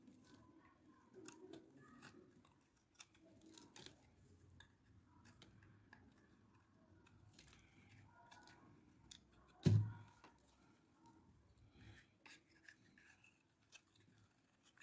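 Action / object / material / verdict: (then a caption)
scrape / bar of soap scraped with a metal blade / soap / none. A metal utility blade scrapes and shaves the surface of a hand-sized, solid bar of old, dry pink soap held in the palm, and pink soap curls pile up nearby. Quiet, dry scratching strokes and brief crisp shaving ticks run throughout, over a low, soft rumble. One heavier, dull low thump stands out near the middle.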